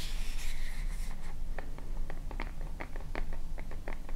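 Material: Plastic.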